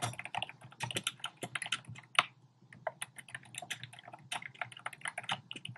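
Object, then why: Plastic keyboard with round keycaps. Fingertips type rapidly on a compact black plastic typewriter-style keyboard with round plastic keycaps. Quick, bright, clicky key taps come in an uneven stream with short gaps, each dying away almost at once, and one sharper tap stands out near the middle.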